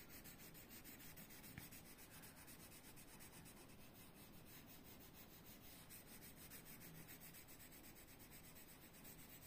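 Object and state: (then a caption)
Colored pencil rubbing on a paper page. A red colored pencil is rubbed back and forth across a thin paper coloring book page lying flat on a desk, shading Donald Duck's foot while yellow-nailed fingers hold the page steady. The result is a quiet, continuous, scratchy rubbing made of quick repeated strokes, with a brief sharper tick near the start.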